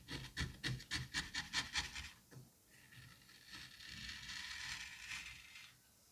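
A thin blade on a white handle slices vertically down through a solid, sliced mound of green kinetic sand. About eight quick, crumbly, bright cuts are heard in the first two seconds, followed by a longer, softer, gritty scrape that fades out.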